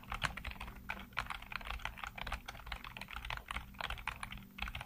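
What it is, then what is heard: Plastic computer keyboard. Fingertips type rapidly across a full-size black plastic keyboard with hollow keycaps, producing a dense stream of short, bright clicks and taps that overlap into a continuous clatter. A steady low hum runs underneath the typing.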